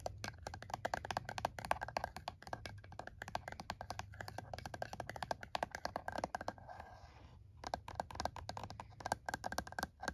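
Fingernails tap and scratch the keys and casing of a plastic calculator resting on a towel. Rapid, dry, clicky taps continue throughout, broken just before the seven-second mark by a brief, soft scratching rustle before the tapping resumes.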